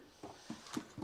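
A bonded fibreglass body panel on a kit car is tapped four times by hand, giving short, dull, hollow knocks centred low around 300 Hz that die away almost at once. The panel sounds hollow but not loose, with no creaking or rattle, which is what the bonding was meant to achieve.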